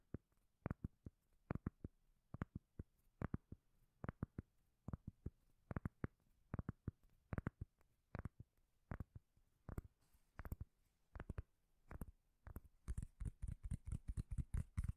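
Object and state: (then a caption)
Cork lid. Long nails tap and scratch the surface of a round, solid, palm-sized cork lid held close to the microphone. The result is a quiet series of dull, bass-heavy, dead-short taps in an irregular rhythm. Near the end the taps quicken into a dense flurry with a faint bright scratching hiss.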